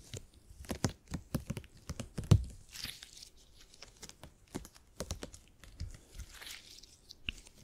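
A soft purple hyper-elastic polymer gel grid cushion is squeezed, folded and stretched with the fingertips. It gives a quiet, close run of irregular sticky pops, tacky snaps and dull low thumps, with a few soft bright rustling swishes in between. One firmer squish near the middle stands out as the loudest.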